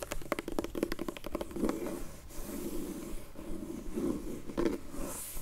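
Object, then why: Faux leather hard glasses case. Long nails tap and scratch the surface of a closed, dark grey, textured faux leather hard sunglasses case from a Zinff sunglasses set while the case is rotated. A quick run of dry, clicky taps comes first, then soft, low scraping rubs, with another brief cluster of taps near the end.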